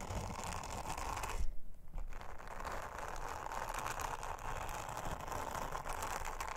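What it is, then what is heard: Silicone honeycomb trivet being brushed. Long-nailed fingers rub an orange silicone bristle scrubber over a round, flat, thin blue silicone honeycomb trivet. The result is a steady, dense brushing and scratchy rubbing texture with bright crackly detail. It briefly swells louder and then dips near the start before settling back into continuous rubbing.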